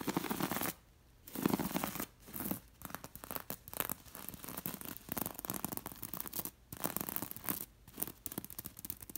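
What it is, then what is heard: Beaded linen pillow scratched. Long nails scratch across a beige linen cushion embroidered with red and gold seed beads, catching on both the beads and the fabric. Bursts of dry, bright, rasping scratches come in quick uneven strokes, broken by short silent pauses.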